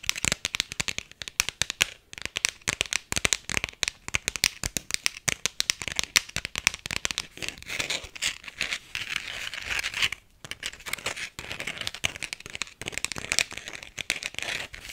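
Long nails rapidly tap an empty, thin, white floral-printed hard plastic iPhone X case that has a strap holder on the back. The result is a dense stream of sharp, bright clicks and crackly ticks with almost no low end. Each tap dies away instantly, with only brief pauses between bursts.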